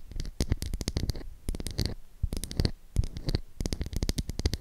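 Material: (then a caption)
Soap. Long acrylic nails tap and scratch the surface of a solid, palm-sized pink oval bar of soap with an embossed logo. Quick bursts of dry, clicky taps with a dull low thud come in clusters separated by brief pauses, with faint scratching between them and almost no ring after each tap.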